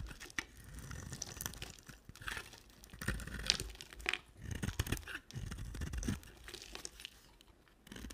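A cream soap bar with a red rim is shaved into curls with a utility knife blade. Dry, crackly scraping and crunching rises and falls in uneven strokes, with soft low thuds beneath and bright, papery edges on each cut.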